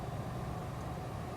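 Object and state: Nothing is struck.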